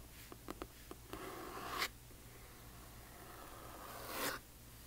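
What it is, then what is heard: Hardcover book with paper dust jacket. A large hardcover book with a glossy paper dust jacket lies flat while long fingernails of one hand scratch across its cover. Three light taps are followed by a bright, papery scrape that ends sharply. After a quieter pause, a second, longer scratch slowly swells and cuts off.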